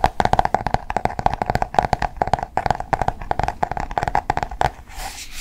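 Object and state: Paperback book with glossy cardboard cover.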